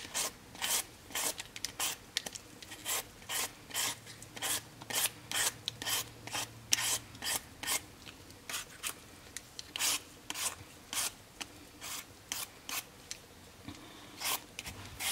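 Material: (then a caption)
Potato. A whole, solid raw potato held in the hand is scraped with a black handheld vegetable peeler over a red plastic cutting board. About 35 short, bright, raspy peeling strokes follow one another at a slightly uneven pace of roughly two per second. Each scrape cuts off quickly, with only quiet background between strokes.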